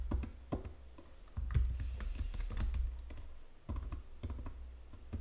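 Fingertips with long nails tap the number-pad keys and the lower edge of a white plastic Logitech full-size keyboard. The result is an irregular run of quick, clicky plastic taps, each with a dull low thump and a short, dry decay.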